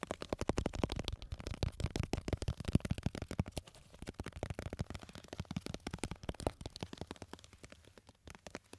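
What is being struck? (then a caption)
Small lidded glass jar filled with candies. A small glass jar with a lid, full of red and yellow candies, is held up and tapped quickly with fingertips and nails. It makes a fast, steady stream of short, dull taps with a low, thumpy body and little brightness. The taps are louder in the first few seconds and softer after that, with a few stronger clicks near the end.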